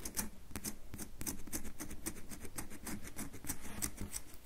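Long manicured fingernails scratch a solid, hand-sized, rectangular red bar of soap held in one hand, its surface already carved and crumbly, with shavings falling onto a white table. A quick run of dry, crackly scratches and light taps follows, each one a short bright tick over a soft low thud that dies away almost at once.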